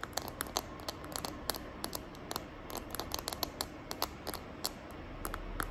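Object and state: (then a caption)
Plastic phone case tapped and scratched with nails. Long nails tap and scratch the back of a small hand-held smartphone in a green glitter plastic case. The result is a quick run of sharp, bright clicks with soft scratching in between.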